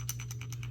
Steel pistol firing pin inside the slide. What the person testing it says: if I shake it ... you can hear the firing pin